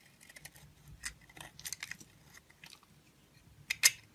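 A utility knife shaves curls off a solid oval pink bar soap with glittery heart prints and a lilac interior, held in the hand. Quiet, bright, crisp scraping and snipping sounds come in short bursts, with two sharper, louder cuts near the end.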